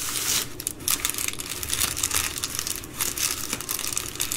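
Long green nails and fingertips fold, rub and scratch an empty Amazon Prime poly bubble mailer lying flat. The result is a dense, bright plastic crinkling with irregular crackling bursts and short scratchy swells, and almost no low end.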